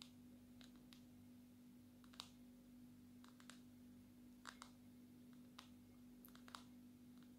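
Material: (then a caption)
Glass. Long natural nails tap on the glossy glass back of a small, solid black smartphone held in one hand. The taps come as sharp, bright clicks with very short ring, scattered irregularly over a steady low hum.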